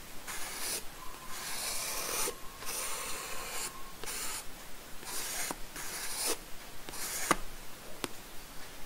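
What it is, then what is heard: Pencil drawing on a paper sketchbook page. A wooden graphite pencil rubs and scratches lines of a bowl drawing onto a paper sketchbook page resting on a wooden desk. Bursts of bright, hissy scratching come and go in uneven strokes, some carrying a faint thin squeak near 1.2 kHz. A few sharp little ticks are scattered between them.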